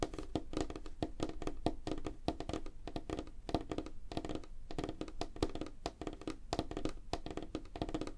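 Fingertips and nails of both hands tap rapidly on a flat, solid, light wooden tabletop. The result is a quick, continuous patter of short, dry knocks with a dull low-heavy body and a woody tone around 300 Hz. Each tap dies away almost instantly with very little high-end brightness.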